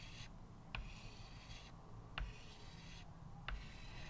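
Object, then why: Chalk on a small wood-framed chalkboard. A stick of white chalk held in the fingertips draws steady strokes across a small square chalkboard with a thin wooden frame lying flat on a table. Soft, bright scratching of the chalk on the board's surface is broken by three sharp taps as the chalk meets the board, each fading quickly, over a low background rumble.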